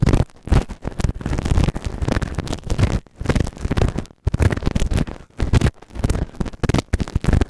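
A white plastic spatula tool held in the fingers scrapes and scratches inside the ear canal of a solid, grey moulded silicone ear-shaped binaural microphone on a round base. The result is a series of loud, dull, booming scrapes in irregular bursts, heavily concentrated in the low end with almost no bright content, separated by brief quiet gaps.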